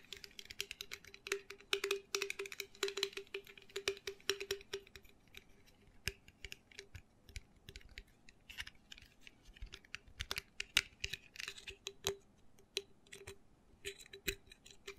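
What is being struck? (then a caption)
Miniature glass bottle. Fingertips and nails tap and scratch quickly over the body and neck of a small, hollow Jim Beam miniature bourbon bottle, likely glass, lying on a towel with its cap off. Rapid, dry, bright clicks and scrapes come in uneven bursts with almost no ring, over a faint steady low tone.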